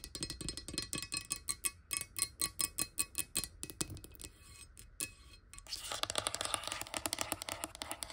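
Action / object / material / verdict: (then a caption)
tap / glass water bottle, partly filled with water / glass / none. Long nail tips tap quickly on a clear glass water bottle lying near the table, partly filled with water. Short, bright clicks with very little ring come in a steady rapid rhythm, pause briefly, then return as a denser, faster flurry of taps.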